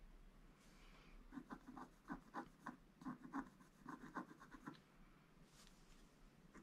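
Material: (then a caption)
Coated paper. A wooden stick scratches the black coating off a gold scratch-art paper page lying flat. Eleven short, dry, rasping strokes come in an uneven rhythm, mostly in the low-mid to mid range around 1 kHz. They fade back into a quiet background hiss.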